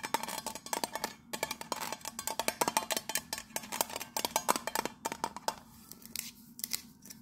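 Long nails rapidly tap and scratch the raised pattern on the embossed gold lid of a round, hollow metal tea tin held in the hand. Dozens of quick, bright clicks with a faint hollow ring near 1 kHz die away almost instantly. Toward the end, the taps thin out into softer scratching.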